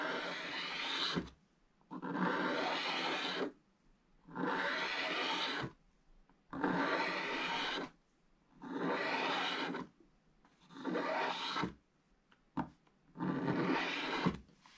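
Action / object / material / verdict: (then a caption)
scrape / scratch-art paper scraped with a wooden stylus / coated paper / none. A wooden stylus rasps repeatedly across a thin, flat, black-coated scratch-art page lying in an open book, scraping away the black coating so that flakes pile up on the page. Seven long, bright, gritty scraping strokes of about a second each come at a steady pace, with short silent pauses and a brief tick between them.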